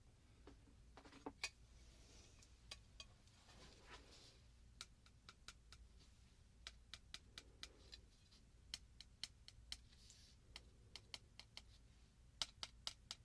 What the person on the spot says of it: had a really specific metal tapping sound